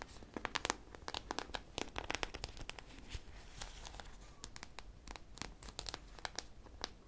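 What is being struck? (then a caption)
Foam squishy toy coated with hard sprinkles. Long painted nails scratch and tap a hand-sized squishy ice cream popsicle toy made of soft polyurethane foam and densely coated with small, colorful hard sprinkles or beads. The result is a rapid stream of crisp, dry crackling and crinkling clicks. Sharp, bright ticks stand out over a soft rustling scratch.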